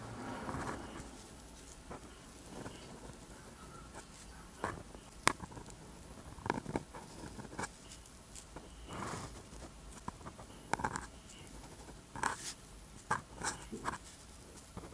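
A ballpoint or gel pen tip held in the fingers scratches across a flat sheet of rough-textured white paper while writing black Korean letters. The result is quiet, dry scratching strokes with short sharp ticks and faint bright rasp, separated by brief pauses.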